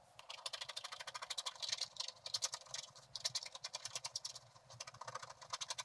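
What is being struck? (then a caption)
Scratch-art paper card scraped with a wooden stylus. A wooden stylus scratches away the black coating over the gold layer of a flat, solid scratch-art card in short strokes while the other hand holds the card steady. A rapid run of crisp, dry scratches is heard, bright and high with almost no low end and no ring after each stroke.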